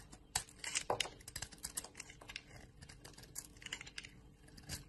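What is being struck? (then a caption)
Bar of soap scraped with a metal blade. A hand-sized, solid white bar of soap with a yellow rind is held in the hand while a metal blade scrapes and carves crumbly flakes off it. The sound is a quiet run of crisp, dry scratches and brittle clicks, bright and crackly with very short attacks. A few sharper scrapes stand out over a steady, soft rasping.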